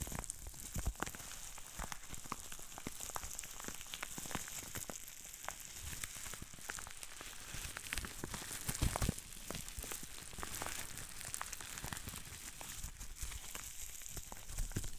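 Green plastic bubble wrap with small air bubbles is squeezed and twisted by hand, giving rapid, irregular popping and crinkling. The sharp snaps sit over a steady bright hiss and come in quick clusters throughout.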